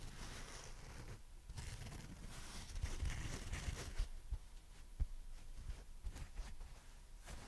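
Long dark-red fingernails on several fingers tap and scratch a dry, porous, pink strawberry-shaped foam sponge with a green leaf top. The result is a quiet, steady, rough scratching and rustling texture, weighted toward a soft low thud, punctuated by a few brief, sharper taps that end almost instantly.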